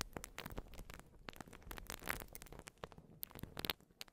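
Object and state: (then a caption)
Urethane foam sponge. A white porous urethane foam sponge is scratched and squished with long nails right over the microphone. The result is a dense run of soft crackling, crinkling scratches with short, bright clicks and a low, muffled rustle underneath, at a quiet level throughout.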